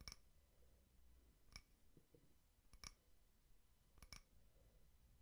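A small frosted glass votive holder with a white wax candle inside is tapped with fingertips and nails, giving six quiet, sharp clicks. Some come in quick pairs, each with a brief bright glassy ping that dies away almost at once, over a low, soft background.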